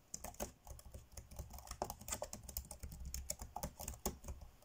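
Fingertips tap fast on the dark grey plastic chiclet keys of a laptop keyboard while typing. The result is a rapid, uneven stream of short, crisp clicks with bright clacky tops and a soft low thump beneath, each tap dying away almost instantly.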